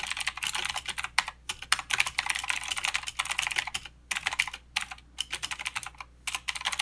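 Fingertips on both hands type quickly on a mechanical keyboard with plastic keycaps and clicky blue switches. The sound is a dense stream of sharp, bright clicks with almost no low end, broken by brief pauses between bursts. Each keystroke dies away almost instantly.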